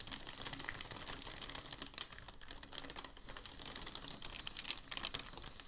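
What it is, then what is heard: Crumpled packing paper. A large, thin, creased sheet of crumpled packing paper on a dark table is swept and rubbed by both hands, producing a continuous dense crinkling. The rustle is bright and crisp with many rapid crackles, fading briefly near the middle before building again.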